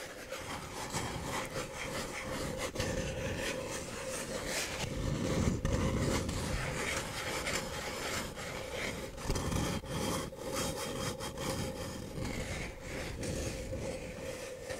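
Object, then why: Paper cup. Fingernails scratch and rub the outer surface of a single empty, hollow paper cup held in both hands. It makes a steady, dry, rasping scratch with a papery hiss and a hollow low rumble. The strokes repeat in loose, uneven passes throughout.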